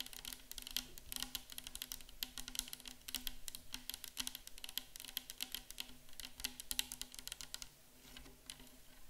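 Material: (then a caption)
Plastic. Long acrylic nails on both hands rapidly tap and lightly scratch a hollow 500 ml clear plastic bottle nearly full of micellar water. The result is a dense flurry of short, bright, clicky taps with quick decay, mixed with soft scratching over a faint steady low hum.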